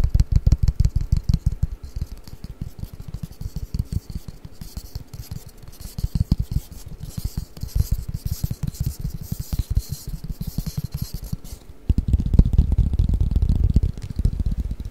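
Fingertips and nails scratch and tap a long, flat, hollow cardboard Mikado pick-up sticks box held above the microphone. The result is a dense, irregular stream of soft, deep, hollow thumps and taps, with a faint, bright scratchy hiss through the middle. It ends in a louder stretch of rumbling scratching.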